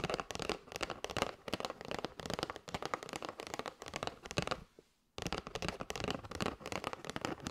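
A flat kraft cardboard box with a clear plastic window showing patterned paper straws is held up in both hands and tapped rapidly with long white nails. The result is a dense stream of short, crisp clicks and papery crackles with a bright edge. The tapping pauses for about half a second near the five-second mark, then resumes at the same quick pace.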